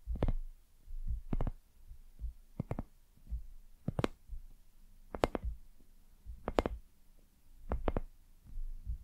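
A palm-sized, soft, hollow white silicone lamp shaped like a dumpling is tapped and scratched with long nails. Quick double clicks come about once a second over a low, muffled thump. Each stroke dies away at once.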